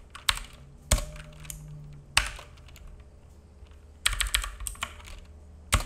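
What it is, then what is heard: Plastic mechanical keyboard. A black full-size mechanical keyboard with plastic keycaps and a hollow case sits on a wooden desk and is typed on with the fingertips of both hands. Irregular bursts of sharp, bright clacks, each with a short low thock, come in small clusters separated by quieter pauses. Each tap decays quickly.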